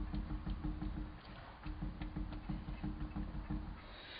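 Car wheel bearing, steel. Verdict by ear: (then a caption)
Loose. A tire on a Volkswagen Mk4 Jetta is grabbed and shaken to check its steel wheel bearing, producing a rapid series of low, hollow clunks and rattles over a steady hum around 300 Hz. The bearing is worn loose and condemned.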